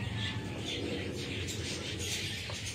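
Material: Nothing is struck.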